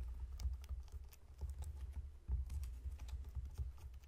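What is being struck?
Whole pineapple.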